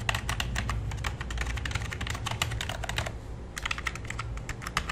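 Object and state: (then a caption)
Plastic computer keyboard. Fingertips type rapidly on the number pad and main keys of a full-size black plastic keyboard with a hollow body, producing dense, bright clicky taps. The typing pauses briefly just past three seconds, then resumes over a steady low hum.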